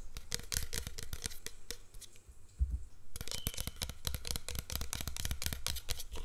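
Fingernails tap and scratch along the side and label of a tall, clear, hollow plastic "Fresh & Clean" scented body mist spray bottle filled with pink liquid, held in the hand. Quick, dry clicking taps mix with bright, scratchy rustling, briefly thin out around the middle with a single louder knock, then resume as a dense run of tapping and scratching to the end.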